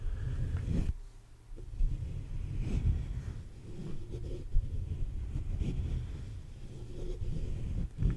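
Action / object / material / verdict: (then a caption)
scrape / metal mesh microphone grille / metal mesh / none. Fingertips and short nails scratch and tap the sides and top of a black USB condenser microphone's hollow metal mesh grille. The result is a close, continuous, bass-heavy rustling and scraping rumble, broken by a few louder dull bumps, with almost nothing in the high range.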